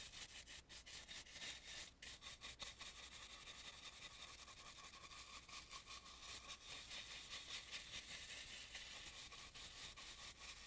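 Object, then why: Carved wooden mask. A dry brush rubs and dusts around the nose and mouth of an antique carved, red-painted wooden mask. It makes a soft, continuous bristly scratching with bright, hissy texture and irregular strokes. A faint low hum sits underneath throughout.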